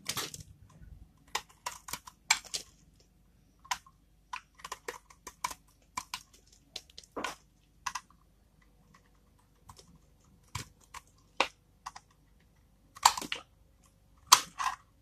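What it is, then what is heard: Dry tar soap bar. A small, solid dark bar of dry tar soap is held in one hand while a flat metal blade in the other shaves and scrapes its surface, and the shavings pile up below. Short, crunchy, bright scrapes come in irregular bursts with quiet gaps between them, each dying away almost at once.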